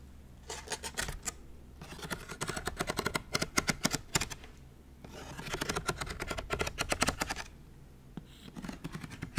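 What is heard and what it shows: Fingernails scratch and flick the pleated white paper edges of a small folding book lamp with its pages fanned open. Quick, bright, crisp papery ticks and scratches come in three dense bursts separated by brief quieter pauses, each tick dying away almost instantly.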